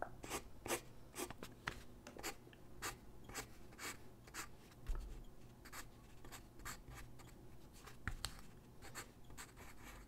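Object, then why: Graphite pencil on a paper sheet. A graphite pencil held in the hand scratches across a large white drawing paper sheet lying flat on a wooden desk while sketching figure drawings. Quick, repeated strokes make bright, broadband scratching bursts that stop short with almost no ring. A steady low hum runs quietly underneath.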